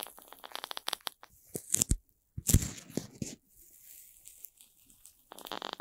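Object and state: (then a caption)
Corn starch foam stick, squeezed. A hand-length stick of several red playcorn pieces joined together, made of light solid corn starch foam, is squeezed, rubbed and pressed with fingertips and long red-painted nails. Quick crinkling, rustling ticks give way to deeper, louder crushing and crunching squeezes, with quiet pauses between. The clip ends in a bright, dense rustle.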